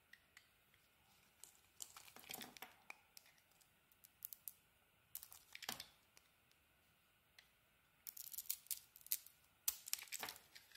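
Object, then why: Bar of soap scraped with a metal blade. A metal blade scrapes and carves thin flakes from a solid pink soap bar. Bursts of bright, crisp scraping and crackling come in short strokes with quiet gaps between them, with almost no low end and the last few seconds busiest.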